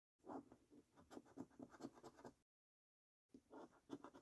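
A coin scratches the latex-coated panels of a thin paper £25 National Lottery "5x £1 Million Prize Portal" scratch card. Quiet, dry, rasping strokes repeat in quick bursts. They stop for about a second and then resume.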